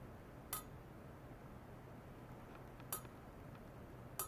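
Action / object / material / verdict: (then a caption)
tap / stainless steel pipe / stainless steel / none. A long, hollow, shiny stainless steel pipe lying horizontally on white foam-net supports is tapped repeatedly at its middle with a thin metal rod. Each tap gives a short, bright metallic clink with a tone near 1.3 kHz and a quick decay, spaced out over a steady low background hum.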